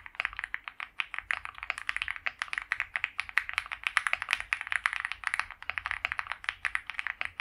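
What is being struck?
Mechanical keyboard with PBT plastic keycaps.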